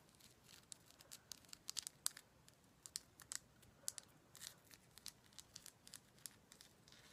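A heavy Himalayan salt rock lamp is tapped in a quick, irregular series of light taps. Each tap is a dry, bright click with almost no low end and no ring, over a faint hiss.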